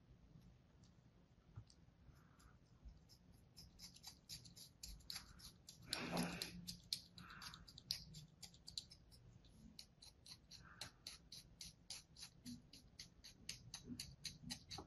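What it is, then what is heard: Kinetic sand slab being cut. A thin metal blade scores parallel lines into a solid slab of kinetic sand resting on a palm. Quick, soft, bright scratching strokes repeat at an uneven pace, each crisp and dry with no ring, and a louder, fuller crunch rises briefly near the middle. The overall sound stays quiet and close.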